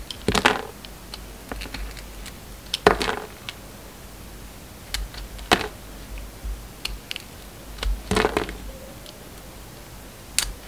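A utility knife blade shaves the surface of a solid purple bar of soap with embossed lettering. Several short, crisp scraping strokes come at irregular intervals, each a bright rasping burst with little ring, separated by quiet gaps with faint ticks.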